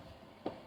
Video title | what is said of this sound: How to make Cakesicles ( live) | ऐसे टैप करके देखिए, अगर हार्ड ऐसे आवाज आ रही टक टक टक तो दैट मीन्स इट्स सेट